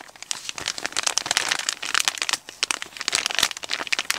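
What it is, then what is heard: Kraft paper padded mailer. A medium brown kraft paper Amazon padded mailer, hollow and apparently holding an item, is crinkled, rubbed and pressed with fingertips and short nails. The result is a steady run of dry, bright crackles and crunches with no low end, each snap dying away almost instantly.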